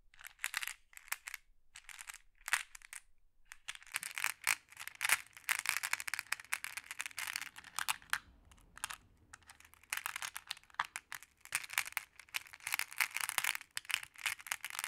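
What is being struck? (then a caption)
Small glass pebbles in a wooden tray stirred with a wooden stick. A hand with long nails uses a wooden stick to tap and stir a pile of small, solid, multicolored glass pebbles in a wooden tray. The result is bright, dense clinking and rattling, with sharp clicks that die away almost instantly. Sparse taps at first build into steady bursts of clattering stirs over a faint low background hum.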